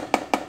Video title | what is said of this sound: Full Waste Hopper | it's totally Hollow if you had toner filled in there you'd have a much more like deeper Bassy sound to that